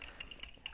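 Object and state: Sunglasses lenses tapped.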